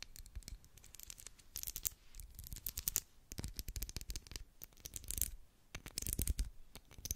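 Long black acrylic nails scratch along the sides and top of a solid, medium pink twisted-ridge wax pillar candle. The result is a dense run of quick, dry scratching strokes with bright, hissy highs and soft low thuds, the strokes swelling and easing in uneven bursts.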